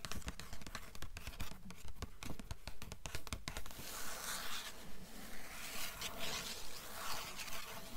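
Long nails tap and scratch the blue paper endpaper of an open hardcover book. Quick, sharp taps come first, then give way to a steady, bright scratching with a regular back-and-forth rhythm.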